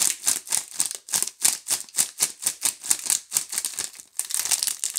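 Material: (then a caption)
Plastic film. A blue DURU four-bar soap pack wrapped in clear plastic film is held in both hands while fingertips and long nails squeeze and rub the film. It gives a quick run of bright, dry crinkling bursts at an uneven pace, almost entirely high-pitched with no low end. Each crackle cuts off right away with no ring.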